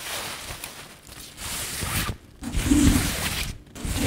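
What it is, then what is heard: Synthetic fabric scarf being rubbed. Fingers and long nails crumple and rub a soft, patterned synthetic fabric scarf held up close. The result is a steady, airy rustling and scratchy friction that comes in bursts with brief quiet pauses between them.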